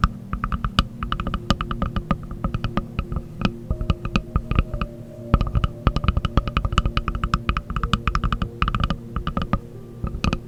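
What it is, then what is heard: Wooden object tapped. Fingers tap rapidly and continuously on a wooden object, making a dense stream of short, dry knocks. Each tap has a deep, hollow low end with a brief bright click on top and dies away almost instantly, over a faint steady low hum.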